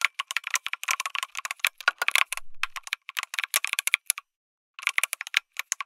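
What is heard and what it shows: A lit mechanical keyboard with an aluminum case and plastic keycaps is typed on with fingertips, producing fast, bright, dry clicking keystrokes with almost no low end. The typing runs in quick bursts, briefly pauses, then resumes near the end.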